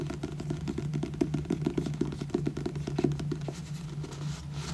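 Fingernails tap rapidly across the glossy cover of a solid purple paperback book, then along its spine. The taps are quick, light and dry with very short decay, sitting over a steady low hum.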